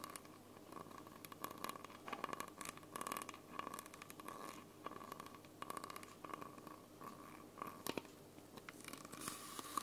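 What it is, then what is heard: Plastic bottle scratched and tapped. Long nails scratch and tap the red cap and label of a small, hollow, clear plastic Coca-Cola bottle, making quiet, crinkly, tearing-like sounds. A steady tone near 1.1 kHz runs underneath, with dense, bright, irregular scratches and taps throughout.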